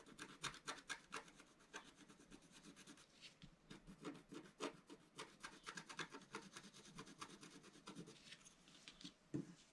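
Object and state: Scratch-art paper sheet being scratched.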